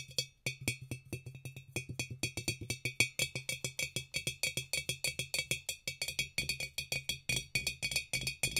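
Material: Glass.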